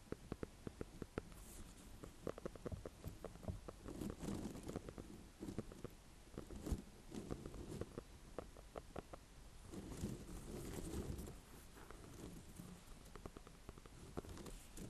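A small green-and-cream speckled ornamental squash with a hard rind is held in the hands and tapped and scratched with long painted nails. Quiet, dull, low knocks come in quick, uneven bursts, mixed with soft scratchy rasps across the rind. Each tap dies away almost at once.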